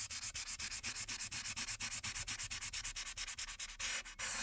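A light-blue marker tip rubs back and forth across the top background of a printed paper coloring sheet lying flat. About 35 quick, bright, scratchy strokes follow one another in a steady rhythm, ending in a longer continuous rub.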